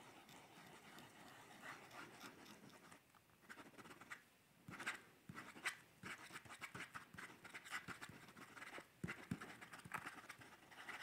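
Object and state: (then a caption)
Pencil sketching on a paper sketchbook. A pencil held in a gloved hand scratches across the page of an upright paper sketchbook with a card cover during sketching. Steady, dry scratching and rustling come in uneven bursts, broken by brief pauses and a few sharper, louder strokes. The sound is quiet, close and bright, with little low end.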